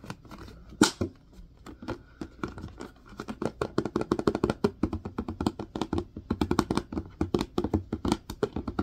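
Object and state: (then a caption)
Plastic hand sanitizer bottle. Fingertips and nails tap and scratch the sides and label of a large clear plastic Purell hand sanitizer bottle, partly full of green gel, with a white cap. A quick, uneven run of dull, hollow plastic taps with short scratchy rasps, each dying out almost at once. The tapping grows denser and louder after a sharp early tap.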